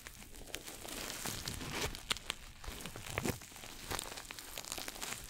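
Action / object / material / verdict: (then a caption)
scrape / coated nylon bag / coated nylon / none. A small red glossy coated-nylon pouch shoulder bag is scratched with fingernails and rubbed with fingertips close to the mic. The result is a steady, quiet stream of bright, crinkly scratching and rustling with sharp little ticks and no ringing after them.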